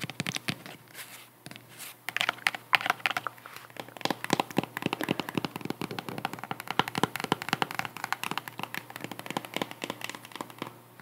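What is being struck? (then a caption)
Cork-covered sandal wedge tapped and scratched with fingernails. Long acrylic nails tap and scratch rapidly on the solid, cork-covered wedge heel of a white strap sandal held up in the hands. The result is a dense run of short, dry, bright clicks with scratchy crackle between them and almost no low end. Each tap dies away at once, with no ring.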